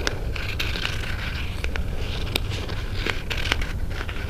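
Fingernails scratch and tap the lid of a small, closed white cardboard Pandora jewelry box held in both hands. Dry, crackly scraping mixes with sharp, bright clicking taps scattered throughout. A steady low rumble sits underneath the whole clip.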